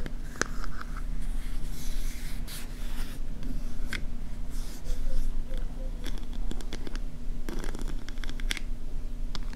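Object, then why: Small metal compact mirror with a ridged shell lid. Long nails and fingertips tap and scratch the ridged lid of a small silver scallop-shell compact mirror, likely metal, a hollow closed case. Sharp, bright clicks and brief scratchy rasps come irregularly over a steady low hum.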